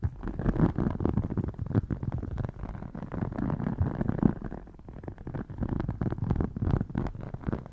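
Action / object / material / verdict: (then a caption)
scrape / embossed faux leather wallet / faux leather / none. Long dark painted nails tap and scratch the textured covers of a rigid red faux crocodile-embossed leather wallet standing partly open on a lap. The result is a dense, low, muffled stream of quick taps and scratchy rasps, rising and falling in loudness with a brief quieter stretch near the middle.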